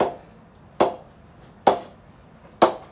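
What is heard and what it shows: A ball is bounced repeatedly off the face of a Spartan David Warner Edition willow cricket bat in a ping test, giving sharp, woody knocks roughly 0.9 s apart: one already sounding at the start, then three clear ones. Each knock has a bright attack and a mid-toned ping around 750 Hz that dies away quickly. The bat has a good ping and amazing punch, sending the ball up close to the ceiling.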